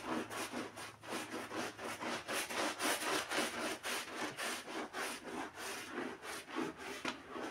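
A gloved hand scrubs a wet, foamy black-and-red pile rug with a handheld bristle brush. Quick, steady back-and-forth strokes, a little under four per second, make a bright, rasping, hissy swish with a faint wet crackle, each stroke swelling and fading in an even rhythm throughout.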